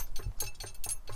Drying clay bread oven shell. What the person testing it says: when you tap it it sounds like a drum nice Hollow sound which is really cool because that's what you want